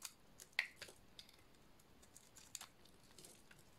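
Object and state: Dry soap bar being scraped.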